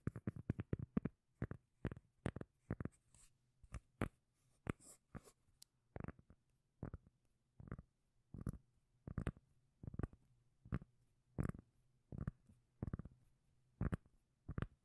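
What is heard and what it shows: Long nails tap and scratch the face of a flat, round, solid, palm-sized cork lid held near the microphone. A quick flurry of soft, dull taps opens the clip, then settles into evenly spaced, bassy knocks with faint scratchy rasps between them. A low, steady hum sits underneath throughout.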